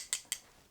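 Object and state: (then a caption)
Perfume bottle cap, not plastic. A ring taps the cap of a unisex perfume bottle twice, giving two short, bright, high-pitched clicks with almost no ring after each. The cap is heavy and sounds like it is not plastic but good material.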